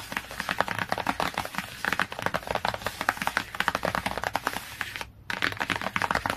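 A large "My Very First Encyclopedia" hardcover children's book lies flat while fingertips and medium-long nails tap and scratch quickly on its solid, glossy laminated cardboard cover. The result is a rapid, dense stream of short, dry clicks and scratchy taps with a bright edge, with one brief pause near the end before the tapping resumes.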